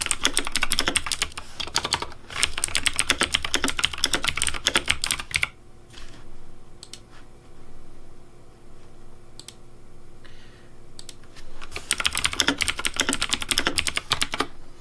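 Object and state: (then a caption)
Plastic mechanical keyboard being typed on. A pink plastic Razer Deathadder V3 Pink mechanical keyboard with backlit keycaps is typed on steadily with fingertips across the left-side keys, giving rapid, bright clacking keystrokes. The typing stops for about six seconds, leaving a low steady hum and a few scattered clicks, then resumes in a fast burst to the end.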